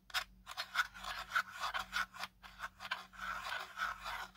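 Fingertips and nails scratch and tap along the ridged plastic arms and body of a small black folded drone with a hard, hollow plastic body, held in the hand. About nine short, bright, raspy scraping bursts come in an uneven rhythm, with little ring after each. A faint steady low hum sits underneath.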